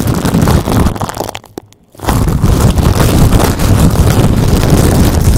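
A thin, clear plastic bag placed over a microphone is squeezed, crinkled and scratched with fingertips and nails. The result is a loud, dense crackling and rustling with a heavy low rumble. The sound drops to near silence for a moment around the second mark, then resumes just as busily.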